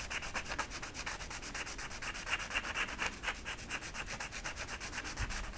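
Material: Velvet.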